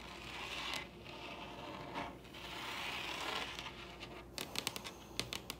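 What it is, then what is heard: Wooden table surface. Both hands scratch and tap a large solid wooden table surface with long red acrylic nail tips. Soft, bright scratching swells rise and fade through most of the clip, then give way to a quick run of crisp, dry taps near the end.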